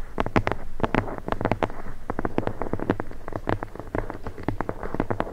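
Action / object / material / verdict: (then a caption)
tap / leather-bound book spine / leather / none. Long blue nails tap and scratch along the embossed spine of a thick red leather-bound book, held horizontally with the spine up above the microphone. A rapid, uneven run of short, dull, low-heavy taps follows, each dying away almost instantly, with faint scratching between them.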